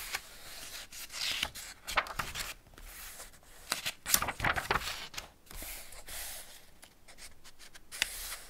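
Fingertips and palms rub the paper pages of an open Ladybird hardback picture book, "Man and His Car," and turn them. Soft, bright, papery rustling swells and fades, broken by crisp crackles and quick swishes as each page flips over, with little low end.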